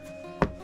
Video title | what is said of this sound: IS NORTHERN IRELAND THE UK'S BEST KEPT SECRET? WATCH TO SEE WHY WE THINK IT MOST DEFINITELY IS! | just tapping this wall here looks like a rock but it's actually um molded plastic